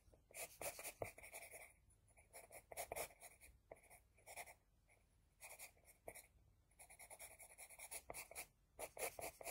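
An HB pencil scratches a flat sheet of drawing paper in many short strokes around the eye of a drawing. It makes quick bursts of dry, bright scratching with a steady band near 2 kHz, separated by brief quiet pauses. Almost nothing sounds in the low range.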